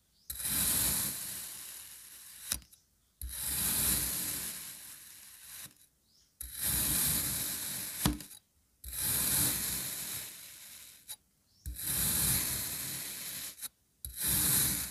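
A long grey knife blade slices repeatedly through a solid molded red kinetic sand crab, cutting it into thin layers. Each of six drawn-out strokes makes a bright, gritty hiss that fades as the blade moves through, and several end with a short sharp tick. Brief silences separate the strokes.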